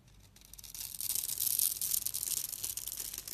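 A metal utility-knife blade scrapes and carves the scored surface of a solid, hand-sized purple bar of soap held in one hand, shaving off small crumbly flakes. The bright, hissy scraping starts faint and grows louder over the first second, continuing in rapid, uneven strokes.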